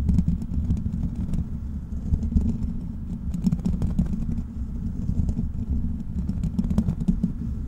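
Fingertips of both hands scratch and tap directly on the foam-free black metal mesh grille of a large, hollow desktop USB microphone. The result is a steady, boomy rumble centered low, around 70 Hz, with dense scratching thumps and brief, sharp clicks that die away almost instantly.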